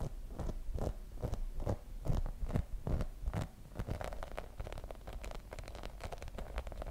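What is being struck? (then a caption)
Rubber spiky massage ball. Long nails and fingertips tap and scratch the spiky surface of a hand-sized, translucent grey rubber massage ball with spikes, held in both hands. Soft, irregular taps with dull low thumps and brief crisp clicks mix with light scratching, each tap dying away almost at once.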